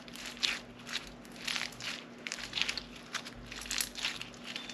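A fist-sized lump of solid, soft blue-pink floam slime full of small foam beads is kneaded and squeezed by both hands with long painted nails over a plastic cutting board. The result is repeated bursts of crunchy, bright crackling and crinkling that swell and fade with each squeeze, over a faint steady low hum.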